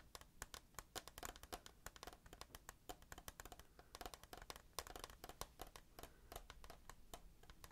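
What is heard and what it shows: Fingertips and nails tap quickly on the side wall of a hand-held, rectangular, clear plastic tissue box that is hollow and full of tissues. The result is a rapid, irregular run of short, dry, bright clicks that die away almost instantly. The taps have a hollow tone around 1 kHz over a faint low background hum.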